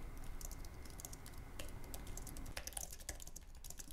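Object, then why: Aluminium and plastic low-profile keyboard. Fingertips of both hands type rapidly on a white, low-profile wireless Apple Magic Keyboard with an aluminum base and plastic scissor-switch keys, resting on a wooden desk. A fast, steady stream of short, bright key clicks patters over a constant low hum, with the keystrokes growing slightly sharper and more distinct toward the end.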